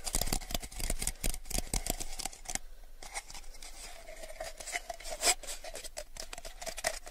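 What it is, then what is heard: Clear plastic cup, empty. A small, hollow, empty clear plastic cup is turned in both hands and tapped with fingertips and nails. Quick, light, bright clicking taps come in dense bursts with very short ring, and a low hollow thump sits under the first part. After a brief lull near the third second the tapping continues more softly, with one sharper tap standing out near the end.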